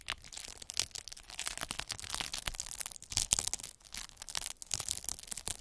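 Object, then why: Plastic bubble wrap. A metal-needle derma roller is rolled across a large sheet of clear plastic bubble wrap, crushing and pricking the air-filled bubbles. The result is a dense, continuous stream of quick, dry crackles and small pops, bright and crisp with almost no low end. Each snap dies away instantly, and the level swells and dips as the roller passes.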